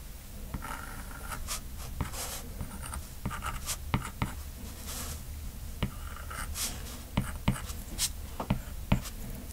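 The hard plastic tip of a stylus, held in the right hand, sketches lines across the glass touchscreen of a large iPad lying flat, possibly fitted with a matte protector. Soft, continuous scratchy strokes run throughout over a low hum, broken by short, sharp ticks where the tip meets the screen. The ticks come more often near the end.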